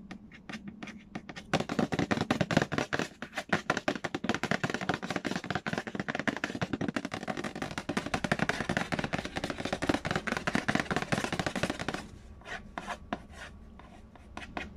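Fingertips tap and scratch fast on the glossy printed lid of a square, hollow cardboard Payday board game box resting on a wooden floor. A few light taps open the clip, then a dense, rapid flurry of dry, hollow tapping and rasping scratches runs until about 12 seconds. It eases back to softer, sparser taps at the end.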